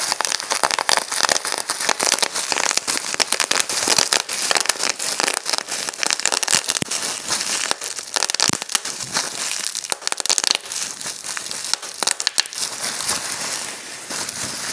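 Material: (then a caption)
Plastic. Clear plastic bubble wrap is pinched between both thumbs and fingers, and its bubbles are popped in quick succession. The result is a dense, continuous run of sharp, bright pops and crackly crinkling that die off almost instantly, with almost nothing in the low end.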